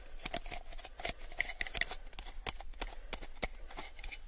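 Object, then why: Small plastic cup. A small, hollow, empty clear plastic cup is held in the hands and tilted while fingertips tap and flick against its sides and rim. The result is a quick, uneven run of short, dry, bright clicks with a faint ring near 2 kHz that dies almost instantly, over a steady low hum.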